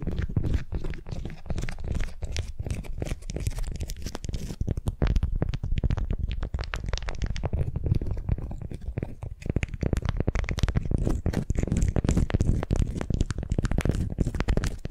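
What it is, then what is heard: Beeswax wrap being crinkled. A candy-shaped wrap of beeswax-coated cotton around a wooden sphere is gripped and crinkled with long nails and fingertips. It makes a steady stream of dense, quick crackles and crunches for the whole clip, with a heavy low, muffled body and little high-end sparkle.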